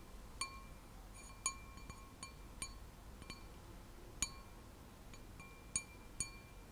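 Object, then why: Glass wine glass. Long nails tap and flick an empty, hollow, clear wine glass with a white printed design, held close. Each touch gives a light, bright clink with a thin, high ring. The clinks come at an irregular pace over a steady, low hiss.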